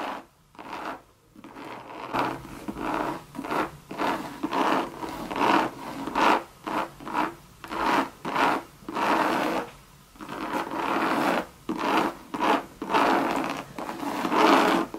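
Long red nails scratch the body and round base of a Louis Vuitton monogram coated-canvas bucket bag lying hollow on its side. The result is a series of short, dry scratching strokes separated by brief pauses, with a mid-range rasp and little low end.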